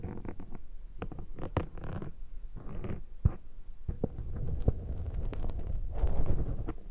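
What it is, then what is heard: Foam microphone windshield. A thin metal pick scrapes across the soft foam of a black microphone windshield. The result is a muffled, rumbling scratching and rustling, heavy in the lows, with scattered sharp clicks and crackles that build toward the end.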